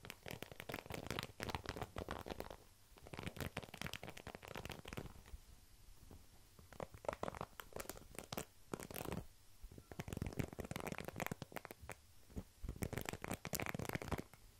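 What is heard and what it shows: Fingertips and nails flick and scratch across the dense black plastic pin bristles of a small black plastic paddle hairbrush, held upright and away from the microphone. Bursts of rapid, crackly scratching and clicking come in dense runs, separated by brief quieter pauses. The sound is soft overall, with a full low body and dry, brittle texture.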